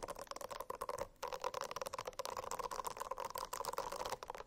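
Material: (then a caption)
Silicone. A silicone-covered notebook is scratched with the nails in quick, continuous strokes. The sound is a dense, rasping scratch with steady tonal bands in the mids and bright edges, briefly pausing about a second in before carrying on.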